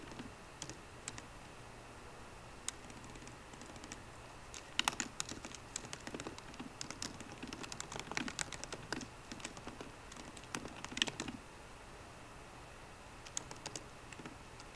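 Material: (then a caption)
Plastic. Fingertips of both hands type on a 13-inch MacBook Pro keyboard with plastic keys in an aluminum body. Bright, dry key clicks come in uneven bursts with short pauses over a quiet, faint hum.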